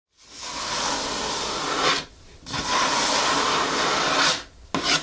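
A closed, medium-sized blue printed Hoka cardboard shoe box rests on a wooden table while long fingernails scratch and tap its lid. Two long, steady bright scratching strokes are heard, separated by a brief quieter gap, then a short final burst of scratching at the end.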